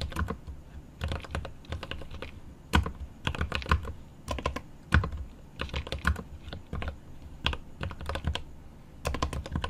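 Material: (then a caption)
Plastic, aluminium. Both hands type rapidly with their fingertips on a 75% mechanical keyboard with plastic keycaps on an aluminum case. Quick bursts of short, deep clacks come with a bright click on each keystroke and brief pauses between runs. Each tap dies away almost immediately.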